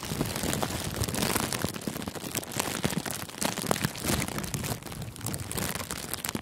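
Fingertips squeeze and crinkle a thin sheet of clear plastic cellophane gift wrap wrapped loosely around a furry microphone windscreen. A dense, continuous crackling of sharp, bright snaps rides over a low, muffled rustle, its level rising and falling steadily throughout.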